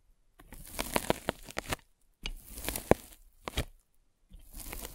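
A metal-spiked derma roller is rolled over a white polyethylene foam net sleeve covering a microphone. It makes bursts of crunchy, tearing-like scratching with sharp crackling clicks, separated by brief silences.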